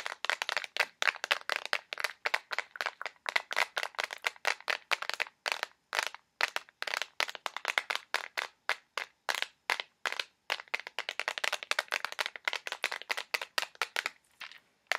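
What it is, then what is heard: Plastic push pin box tapped and scratched. A small, clear plastic box filled with push pins is tapped and scratched rapidly with fingernails. It makes dozens of sharp, dry, bright clicks in quick irregular bursts, with almost no low end and no ringing after each tap.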